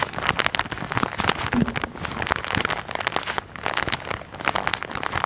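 A hand-sized white and orange soft plastic package, which looks filled (possibly with cotton pads), is held in both hands close to the microphone while fingertips and nails tap and scratch its crinkly surface. The result is a dense run of quick, sharp, bright crackles and rustles that swell and dip in loudness, with little low-end weight.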